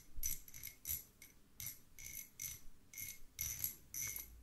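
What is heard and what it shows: Two small, solid, threaded steel screws held in the fingertips are scraped and clinked against each other. This makes a quick run of short, bright metallic ticks and scratchy rasps with a thin high ring that dies away almost at once. A low rumble sits underneath.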